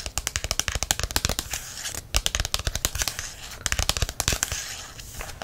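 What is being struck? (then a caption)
Paperback book, glossy card cover and paper page edges. Fingertips scratch and tap the glossy card cover of a paperback herbs book, then the book is turned so they can scratch along the paper page edges. Rapid, crisp taps with bright, papery highs and a soft low thump come in dense bursts. Quieter, steady scratching fills the stretches between them.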